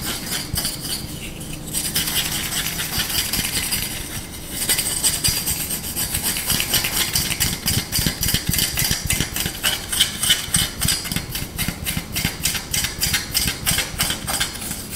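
Short nails scratch and fingertips tap quickly and aggressively on the bowl and handle of a small, solid, light wooden spoon held in the hands. The result is a dense, bright, dry run of scratchy rasps and quick taps in a loose, fast rhythm, with a brief quieter lull before the activity picks up again.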